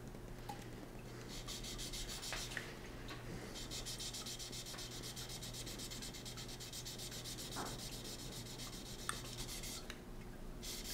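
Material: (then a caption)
Steel. A solid steel knife blade, partly taped and clamped in a green bench vise, is hand-sanded by gloved fingers rubbing a flat abrasive block along it in repeated strokes, with a thin water line nearby. The strokes make a steady, rhythmic gritty rasp with a bright, high hiss over a constant low hum.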